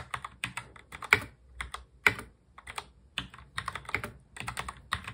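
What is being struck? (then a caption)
Plastic mechanical keyboard. A full-size black mechanical keyboard with plastic keycaps is touch-typed steadily by both hands, fingertips tapping the keys. Short, bright clicks follow one another in an uneven rhythm, with a few keystrokes landing noticeably louder than the rest. Each tap dies away almost instantly.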